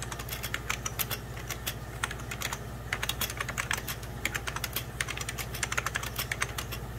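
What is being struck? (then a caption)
Plastic computer keyboard. Fingertips and short nails rapidly press the beige plastic keys of a full-size 90s Packard Bell keyboard with a hollow plastic case. The result is a quick, uneven stream of sharp, bright plastic clicks and taps with very short decay, over a steady low hum.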